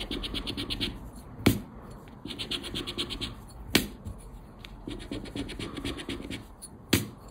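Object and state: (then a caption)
Paper scratch card being scratched. A round black plastic scraper scratches a thin paper 20X scratch card resting on black cloth. Bursts of quick, rhythmic rasping strokes with a bright, papery edge are broken by three sharp, louder taps.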